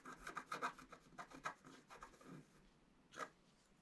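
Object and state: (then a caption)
Scratch art card being scratched. A wooden stylus scratches the coating of a flat black-coated scratch art card. It makes a series of short, dry, raspy strokes with a bright, papery hiss. After a brief pause, one last stroke follows.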